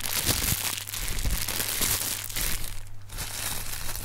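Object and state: Plastic air cushion packing pillows.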